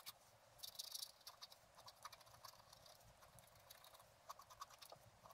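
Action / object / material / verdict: scrape / black-coated scratch art card scratched with a wooden stylus / coated paper / none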